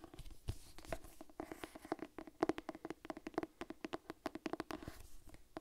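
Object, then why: Cloth-bound hardcover book. Long nails tap and scratch the cover and spine of a purple cloth-bound hardcover Harry Potter cookbook held upright. A rapid, irregular run of soft, dull taps with a low hollow tone is interspersed with faint scratching between them. Each tap dies away almost instantly, with no ring.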